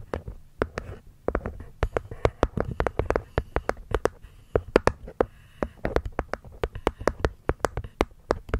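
Long nails tap and scratch the cork top panel of a small, hollow, hexagonal light-wood box. Many quick, dry, clicky taps follow one another in an uneven rhythm, each dying away almost instantly over a soft low hollow thud. Faint scratching fills the gaps between taps.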